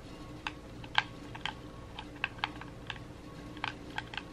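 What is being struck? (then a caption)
Plastic game controller. Thumbs press the buttons and sticks of a red hollow plastic gamepad held in both hands, in quick taps. A scattered series of short, sharp, dry plastic clicks with bright upper edges stand out over a faint steady low hum, each click dying away instantly.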